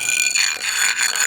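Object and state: Hollow (drummy) floor tile.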